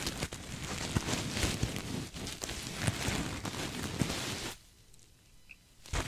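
A soft, stuffed cream sequin throw pillow is hugged close to the mic and scratched with fingertips and nails. This produces a dense, crackly rustle of sequins with bright scratchy texture and a few sharper clicks. After about four and a half seconds the sound drops to a quiet, faint rustle, then ends with a brief loud scrape.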